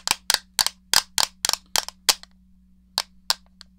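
Long nails tap and scratch the shell of a hollow grey plastic SNES game controller, making ten sharp, bright clicks. The first eight come in a steady run and the last two follow after a short pause. Each click is crisp and high-pitched and dies away almost at once.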